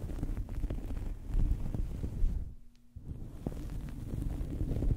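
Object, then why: Soft fabric towel over a microphone. A small, soft fabric towel draped over a microphone is scratched and rubbed with the long fingernails of both hands. This produces a continuous, muffled, low rumbling scratch with almost no high end. Near the middle the sound briefly drops to a quiet pause with a faint low hum, then the rubbing resumes.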